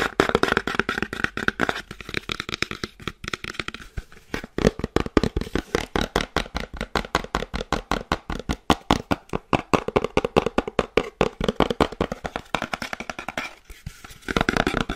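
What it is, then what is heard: Cardboard box tapped with fingernails. A small cream cardboard box with a window cutout, hollow, is turned in the hands and tapped fast with long dark-painted nails. Rapid, dry, short clicks and knocks come in quick bursts with a hollow, papery body and almost no ring. The tapping runs steadily throughout with brief pauses and shifts in tone as the box turns.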